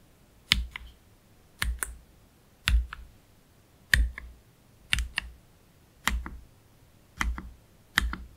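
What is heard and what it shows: A black Keychron K3 Pro low-profile mechanical keyboard with plastic keycaps and Gateron Red low-profile switches is typed on slowly, one hand pressing individual keys with its fingertips. Eight separate keystrokes are heard at uneven, unhurried intervals. Each is a bright, sharp click with a low thud underneath, followed by a softer second click.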